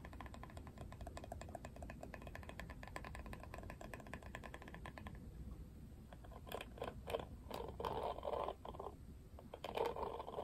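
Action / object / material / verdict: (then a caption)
tap / plastic paddle hairbrush / plastic / none. Fingernails tap rapidly and steadily on the plastic back of a Barbie plastic paddle hairbrush, making quiet, dense clicking for about five seconds. The brush is then turned over, and fingers scratch its plastic bristles in louder, scattered rasping bursts with a brighter crackle.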